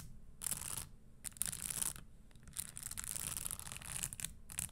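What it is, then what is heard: Spiked leather stiletto pump. Long fingernails scratch and tap the spikes of a red spiked leather Christian Louboutin stiletto pump, then a single fingernail taps it. The result is bursts of bright, crisp scratching and clicking, separated by short quiet gaps over a faint low rumble.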